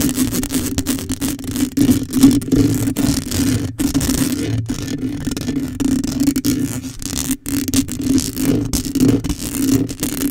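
Long acrylic nails scratch quickly across a black metal mesh microphone grille. A dense, continuous rasping scrape is heard with a steady low hum centered near 270 Hz and faint bright hiss. The scratching runs almost without pause, with brief dropouts.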